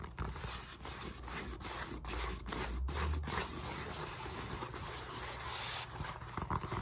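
Fingertips and long nails rub and scratch the side of a solid black molded polyethylene foam roller resting on a lap, then move to its end face. Heard is a steady dry scraping hiss with quick, irregular nail strokes and a low rumbling undertone.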